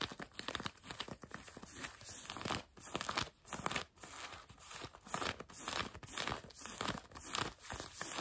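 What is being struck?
Denim jeans fabric over a knee.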